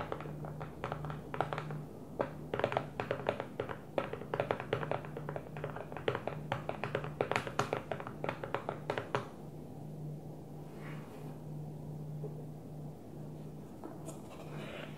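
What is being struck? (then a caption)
Plastic food storage container. An empty clear plastic food storage container with a blue lid is tapped with long nails, first on top and then held on its side. Quick, dry, plasticky clicks come in bursts of rhythm over a steady low hum for about nine seconds. After that, only the hum and faint rustling remain.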